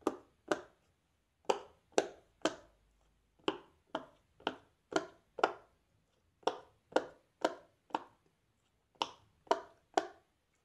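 A fingertip presses and pops the hollow bubbles across the rows of a large square rainbow silicone pop-it fidget toy. Seventeen short, hollow pops sound in small bursts with brief pauses between, each a soft midrange click with a bright edge that dies away almost instantly.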